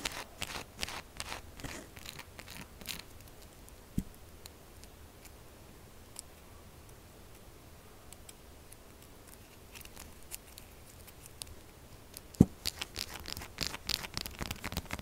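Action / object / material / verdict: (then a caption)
scrape / bar of soap / soap / none. A solid, textured pink soap bar resting on a table is tapped and scratched with long acrylic nails. Quick, dry clicks and scrapes come in dense bursts at the start and end, with a quieter, sparser stretch in the middle and a sharp louder tap near the end.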